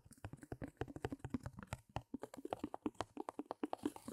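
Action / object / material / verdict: tap / stretched fabric canvas on wooden frame / canvas / none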